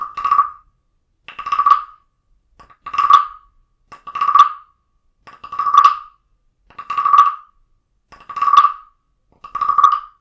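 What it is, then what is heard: Wooden frog guiro. A small carved wooden frog guiro held in the palm is played with a wooden stick that taps and scrapes along its ridged back. Eight hollow, croaking rasps centered around 1.1 kHz sound at a steady pace about every 1.3 seconds, each with a short tap just before it. Every rasp swells and stops dry, with bright ridge clicks above it.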